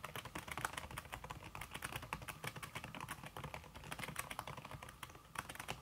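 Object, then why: Aluminum keyboard with silicone key cover. Fingertips with red-painted nails type fast on a slim backlit aluminum keyboard whose keys are covered by a red silicone skin. A dense, steady stream of soft, short key taps carries a bright clicky edge over a low thump, with each tap dying away almost at once.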